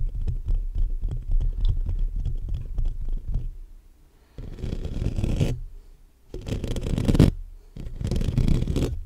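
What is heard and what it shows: Fingertips and short nails of both hands scratch fast across the black metal mesh grille of a large hollow condenser microphone. For about three and a half seconds it makes a dense, low, rumbling scrape. After a brief near-silence, three more bursts of rough scratching follow, each with a brighter hiss on top.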